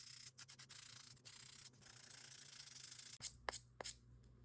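A small pink and orange foam buffer block, held in a gloved hand, is rubbed along the surface of a long acrylic nail. The result is a steady, bright, scratchy rubbing hiss broken by brief pauses between strokes. A few sharper, louder scrapes come near the end.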